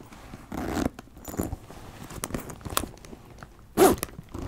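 A hollow brown leather backpack is handled with repeated zipper pulls and nails scratching across the leather, while its small metal rings jingle. Short raspy bursts and scrapes come in uneven waves, with a louder, brighter zip near the end.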